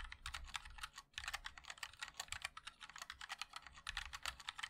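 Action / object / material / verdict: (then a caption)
tap / mechanical keyboard with plastic keycaps / plastic / none. Fingertips of both hands type continuously on a compact 60% MOD-L mechanical keyboard with a black case, white and black plastic keycaps and linear switches. Around 32 quick, bright, clacky keystrokes sound dry, with almost no ring and a short pause near the one-second mark.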